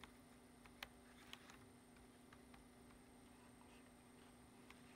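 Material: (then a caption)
Plastic. Fingertips tap the keys of a black plastic computer keyboard, making sparse, quiet, short clicks that stand out now and then. The clicks ride over a steady low hum and a faint high whine.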